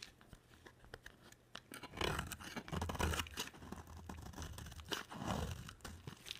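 A box cutter blade scrapes and carves a solid, palm-sized bar of dry white soap. After a quiet start of faint scratches, dense crunchy, tearing scrapes build from about two seconds in, with a low rumble beneath. The scraping continues in bursts through to the end.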